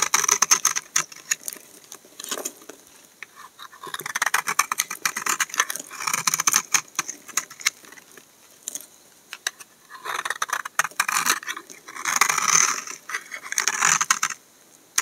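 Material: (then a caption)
Soap. A solid bar of brown laundry soap held in the hand has thin flakes shaved from its face with a utility knife blade. The result is a dense run of crisp, bright scraping and crackling strokes, coming in bursts with short quiet gaps between them.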